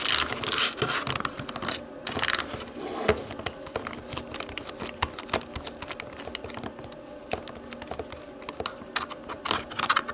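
Long painted nails tap and press the white rubber buttons of a hollow black plastic TV remote lying on a wooden table. Quick, bright plastic clicks and ticks come in a dense, irregular stream, with a few louder taps and brief crinkly, scratchy bursts, and each click dies away almost at once.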